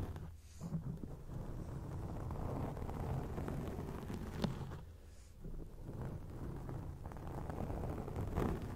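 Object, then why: Foam microphone windscreen. Long acrylic nails scratch a round grey foam windscreen on a microphone, producing a dense, low, rumbling crackle with a steady rustling texture. The scratching briefly drops near the start and again around the five-second mark, with one short sharper scrape in between.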